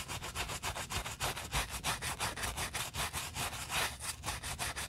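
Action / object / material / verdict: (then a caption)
scrape / knit fabric sneaker upper scrubbed with a bristle brush / knit fabric / none. A gloved hand holds a white knit Adidas Yeezy Boost 350 sneaker while a wooden-handled bristle brush with soap scrubs the knit fabric around the heel collar. About seventeen fast, rhythmic scrubbing strokes make a bright, hissing, raspy rub with a faint low rumble beneath.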